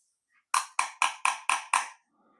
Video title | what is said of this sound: Quick peek inside a GU10 LED Bulb | And is it plastic or is it glass? That sounds like plastic.